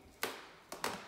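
Footsteps on an old corridor floor draw three sharp, bright creaks, each fading quickly. The floor creaks a lot, so its subfloor needs re-screwing from below, and 12 mm flooring may be laid there instead of vinyl, since flexible vinyl would not stop the creaking.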